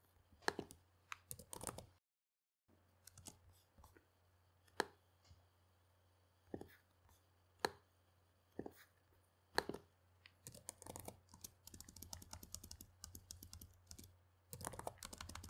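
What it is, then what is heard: Plastic laptop keyboard being typed on. Fingertips type on a black plastic laptop keyboard resting on a cloth-covered table, producing short, dry clicks with no ring. The taps come in sparse single strikes and short bursts, growing into denser typing runs toward the end, over a steady low hum with a brief silent gap near the start.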